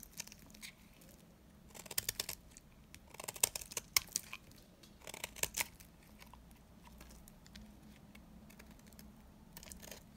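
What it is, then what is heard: Dry bar soap. A small metal blade cuts and scrapes crumbly flakes from a solid, dry, old, hand-sized bar of soap held in the hand, in rapid short strokes. The result is a crisp, bright crackling that comes in clustered bursts, loudest around two, three-and-a-half to four, and five seconds, with quieter scraping in between over a faint low hum.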